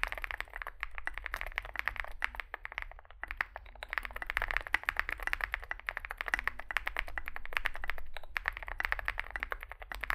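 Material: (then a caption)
Plastic. Fingertips type continuously on a small Zoom65 65% mechanical keyboard with a dark case and white and grey plastic keycaps. The result is a rapid, dense stream of short, clacky keystrokes centred around 2 kHz, with a steady low hum underneath.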